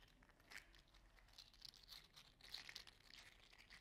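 A small orange-red "mini fire slug" toy made of 3D printed plastic with hollow articulated segments is curled and squeezed in the fingers. Its segments give off quiet, bright, dry clicks and crinkly ticks in quick irregular bursts, each dying away almost instantly, with little low-end weight.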